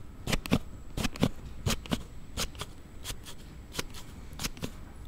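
A hand-held Note7 smartphone in a plastic slide case has the case slid back and forth by thumb. About sixteen sharp, bright clicks and rubbing scrapes come at an uneven, fairly quick pace, each dying away almost at once over a low background.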